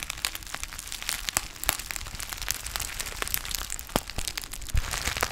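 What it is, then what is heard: Foil-lined tea pouch, crinkled. A small, partly filled black foil-lined plastic tea pouch with a ziplock top and a white label is held close to the mic and crinkled and squeezed with the fingertips. It makes a steady stream of bright, crisp crinkles and sharp crackling snaps over a soft low rustle, with each snap dying away almost instantly.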